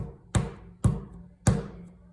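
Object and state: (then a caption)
Wet clay. A lump of wet clay is slapped down on a table three times, giving three dull, low thuds with little high-frequency content and a short decay. The wet clay sounds soft and sticky and clings slightly to the table with each hit.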